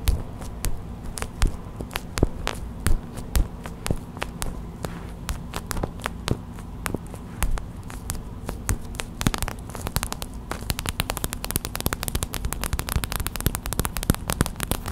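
Long white acrylic nails tap a small clear plastic hot/cold pack filled with white gel beads, making short, dry plastic clicks that ring out almost instantly. The taps start slow and scattered, then quicken into dense, rapid tapping from about the nine-second mark, all over a steady low hum.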